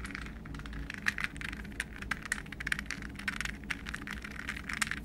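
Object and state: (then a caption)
Plastic puzzle ball. A hollow, translucent green plastic puzzle ball, palm-sized and balanced between the hands, is tapped with fingernails and fingertips. The result is a rapid run of light, dry, clicky taps with a bright, hollow plastic tone and almost no ring, over a faint low hum.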